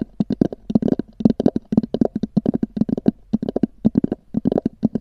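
Long nails tap and scratch the textured top of a small, hollow, black oval EVA hard-shell zippered case. About 27 quick, dry taps come in uneven bursts, each a short hollow knock centred near 220 Hz with a faint scratchy edge. They stop almost instantly, with no ring.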